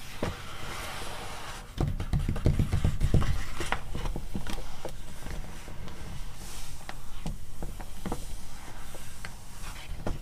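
Long nails scratch and tap across the glossy coated pages of a magazine open to a spread about crustaceans. Soft scraping is broken by quick, irregular taps, with a denser, heavier stretch of tapping around two to three seconds.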